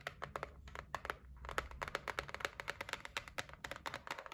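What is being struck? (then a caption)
Cardboard gift box. Long nails tap and scratch the top edge and lid of a closed, medium-sized white cardboard gift box, seen from the side. About thirty quick, dry taps sound in an uneven rhythm, each a hollow click centred near 1.3 kHz with a bright edge. The taps die away almost instantly, with soft scratching between them over a faint low hum.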